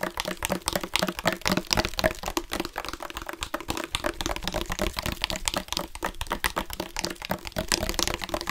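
Fingertips rapidly tap and rub a dark plastic sports water bottle with a loop cap and yellow-green accents, hollow and partly filled with water. The result is a dense, irregular patter of short, dry, bright clicks, with faint sloshing of water inside.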